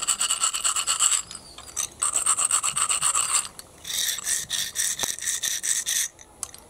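Fingers rub and scrape through a heap of small, hollow, empty snail shells on concrete. The result is a bright, rapid, crisp rattling and scratching in three main bursts separated by short pauses, with a high, tinny ring and almost no low end.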